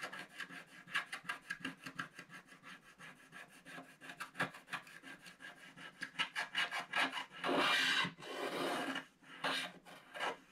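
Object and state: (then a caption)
Scratch art card being scraped. A wooden stylus scratches steadily across a flat black-coated scratch art card held down by one hand, removing the black layer around a snowman. It makes a quick, uneven run of short, dry, bright scraping strokes, then two longer continuous rasps near the end before the short strokes return.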